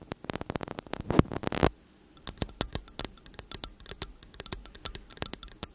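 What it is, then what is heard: Metal condenser microphone body. Long acrylic nails tap and scratch repeatedly on the casings of two slim cylindrical metal condenser microphones. A dense flurry of quick, bright clicks and a rising scratchy rasp fills the first second and a half, then stops in a brief pause. After that come sharper, more spaced-out taps that stop almost at once with no ringing.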